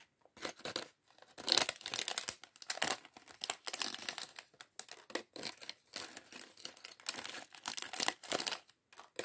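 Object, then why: Thin plastic bag holding small plastic bricks. A small, clear, thin plastic polybag holding a few red, green and yellow LEGO pieces from the LEGO City sandwich shop set 40578 is crinkled between the fingertips of both hands. It makes bursts of dry, bright crackling and rustling with almost no low end. The sound stops and starts in short, quick pulses with brief gaps between them.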